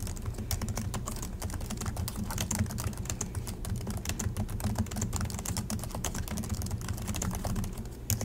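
Both hands type continuously with their fingertips on the low-profile plastic chiclet keys of a silver Acer laptop. The result is a rapid, steady stream of short, bright plastic clicks and taps that die away almost instantly, over a constant low hum.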